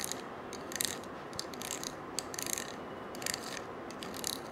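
A small gold-colored coiled wire bangle, held in one hand, is scratched with a stiff-bristled brush. Quick bursts of bright, dry scratching and clicking come from the coils in a ratchet-like rhythm. The sound is quiet, with little low end.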